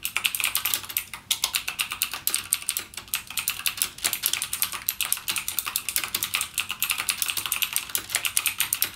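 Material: Plastic.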